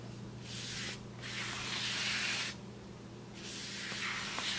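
A wide paintbrush is brushed across the surface of a large, flat brown kraft paper bag in three strokes. Each stroke makes a soft, bright, hissing scratch over a faint, steady low hum.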